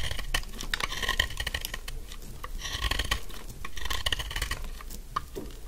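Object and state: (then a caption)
Dry soap bar being shaved. A thin, solid, pink dry soap stick held in one hand is shaved with a metal utility blade, with the crumbs falling onto a pile of shavings. Dense, rapid, crisp scraping and crackling ticks run throughout, with a bright edge and a low rumble underneath.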